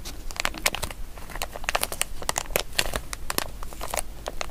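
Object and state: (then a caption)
Plastic zip-lock bag. A small, empty, glossy printed plastic zip-lock bag with Toy Story characters is held in both hands while fingertips and nails crinkle and squeeze it and press its zip closure. Dense, bright crinkling and sharp crackles come in quick bursts over a steady low rumble, each snap dying away almost at once.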